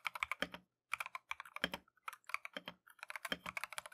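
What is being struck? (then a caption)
Mechanical keyboard with plastic keycaps. A compact Keychron V1 mechanical keyboard with Tangerine switches and green-and-white Matcha plastic keycaps is typed continuously with gloved fingertips. The result is quick bursts of bright, short clacks with almost no low end, separated by brief pauses.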